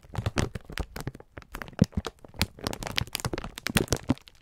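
A clear plastic-film pack of sponge scourers is held in both hands while fingertips squeeze and rub it. The plastic gives off a dense run of sharp crinkles and crackles, with short bright snaps over a soft low thump from the handling.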